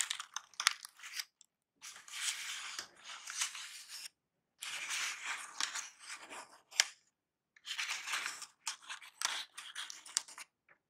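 Painted fingernails and fingertips squeeze and crinkle crumpled brown kraft packing paper filling a cardboard box. Dry, bright crackling rustles come in three longer bursts separated by brief silences, with sharp snaps scattered throughout and almost no low end.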